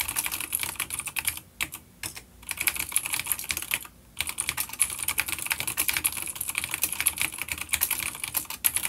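Both hands type rapid fingertip key taps on a full-size, dark grey plastic vintage mechanical keyboard with grey and dark keycaps and clicky blue switches, an older B-grade unit resting on a wooden desk. The bright, sharp clicks come in dense bursts with brief pauses near the second and fourth seconds, and each tap dies away almost instantly.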